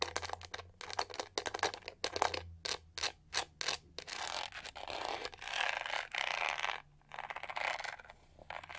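Long nails rub and scratch the textured back and side of a pink-gold studded plastic detangling hair brush. Quick, bright scratching bursts come first, then longer, steadier rasping rubs. The sound stays dry and crackly, with almost no low end.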